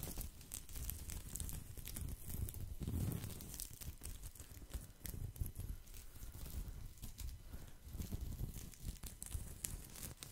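Fingertips and nails scratch and rub the woven surface of a thin, round, flat straw or rattan placemat held up to the microphone. The result is a steady, dense stream of crinkly, crackling scrapes with a soft low rumble underneath and bright, crisp ticks on top.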